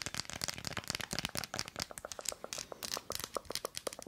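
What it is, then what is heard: Milk chocolate bar with nuts. Long acrylic nails scratch and tap an unwrapped, thin, solid Tony's Chocolonely milk chocolate bar with nuts, held upright in one hand, with its textured, nut-studded back facing out. About two dozen crisp, dry clicks and scratchy taps follow in quick succession. Each is bright and sharp with almost no ring.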